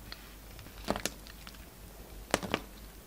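A solid peach and white bar of soap, held in the hand, is cut and scraped with a utility knife blade, taking off shavings. Short, dry, crisp scrapes come in two brief clusters against a quiet background, each crackling sharply with a bright edge and dying out almost at once.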